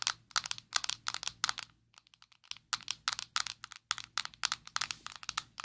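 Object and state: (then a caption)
Plastic powder jar tapped with nails. Long nails tap rapidly on a closed, small square black plastic Maybelline Fit Me loose powder jar held in both hands. The taps are quick, bright, dry clicks in uneven bursts, with a brief softer lull in the middle. Each click dies away almost instantly.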